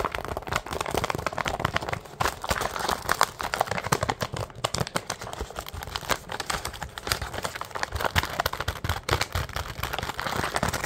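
Fingers squeeze and crinkle the thin plastic packaging of a medium, filled, printed plastic bag of powdered mini donuts held in both hands. Dense, rapid crackling and rustling run nonstop for about eleven seconds, with brief bright crinkles over soft low handling bumps.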